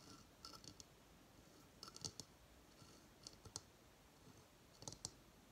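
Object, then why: Dried coconut shell hideout. A hollow, dried, fibrous coconut shell hamster hideout, sitting on a coconut stand on a table, is tapped with fingertips and long fingernails. Quiet, bright, dry clicking taps come in small, irregular clusters, each dying away almost instantly, over a faint steady hiss.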